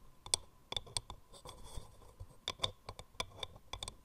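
Long nails tap and scratch the outer wall of a hollow wooden mortar with grooved rings. About fourteen quick, dry, bright clicks stand out over a soft scratching rasp, each dying away almost at once.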